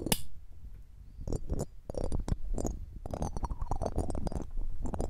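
A red-gem ring with a metal setting, held in metal tweezers, is rubbed over the round metal mesh grille of a silver condenser microphone. Close, heavy low scraping and rumbling friction is broken by quick, bright metallic clicks and scratches that die away almost instantly.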